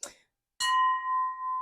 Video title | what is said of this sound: THRIFTING, ANTIQUING, BLUEBERRY PICKING IN NEW ENGLAND #cottagestyle #vermont #newhampshire #garden | that's what you're going to go for um when you're trying to identify the sound of Crystal